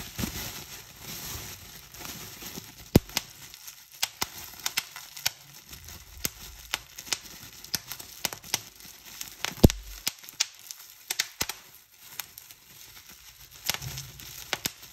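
Clear plastic bubble wrap is held in both hands while fingertips squeeze and pop the bubbles. Sharp, bright pops burst out at irregular intervals over a steady crinkling, rustling crackle of the plastic.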